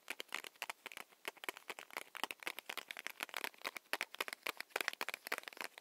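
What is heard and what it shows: A small, solid, paper-wrapped Hi-Chew candy stick is held in both hands and tapped with long nails. The result is a rapid, uneven run of dry, clicky taps, bright and crisp with almost no low end, each dying away instantly. Light crinkling of the wrapper sits between the taps.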